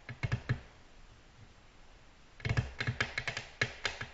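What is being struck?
Glass tabletop tapped with fingernails.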